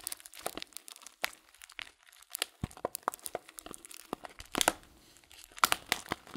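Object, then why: Clear plastic bag of dried fruit tea. Fingertips crinkle a transparent plastic bag full of loose dried fruit tea and squeeze the contents inside. Quick, dry crackles and crunches come in irregular bursts with short pauses between them, and they are bright with very little low end. Each snap dies away almost instantly.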